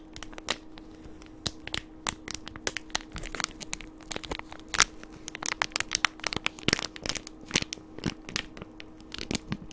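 A small, light, hollow green and yellow plastic candy wrapper tube is held in the fingers and crinkled right beside the microphone. Dense, sharp, bright crackles and crisp pops come in irregular bursts over a faint steady hum, each snap dying away almost instantly.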